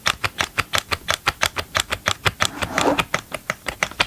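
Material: Plastic.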